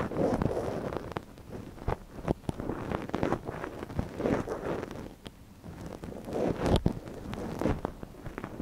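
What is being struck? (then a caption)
Silicone ear model on a binaural microphone. A gloved hand scratches inside the ear canal of a soft white silicone ear model on a binaural microphone with a thin wooden ear pick. Close, rustling scrapes and sharp little clicks come in uneven bursts, with low muffled rumbles between them.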